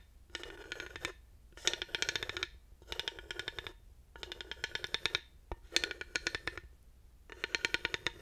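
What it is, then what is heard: Ridged wooden panel. A thin wooden dowel taps and rolls along the ridges of a solid, grooved wooden panel. Six separate bursts of rapid, dry, bright clicking rattle across the ridges, each lasting about a second with short pauses between.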